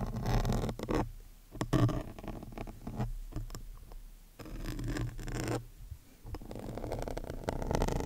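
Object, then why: Foam microphone windscreen. A hand with long painted nails scratches and pokes a large, soft, porous black foam windscreen on a microphone with the metal needle tip of a wooden-handled awl. The result is close, rough, muffled scraping and rustling with a heavy low rumble, coming in dense bursts that swell and fade with brief quieter gaps.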